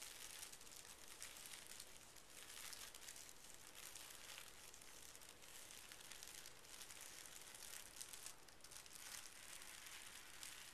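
A palm smooths a narrow strip of folded pink tissue paper lying on carpet while fingertips press and rub along its folds. The result is a quiet, steady, bright crinkling and rustling hiss that swells and softens slightly with each stroke.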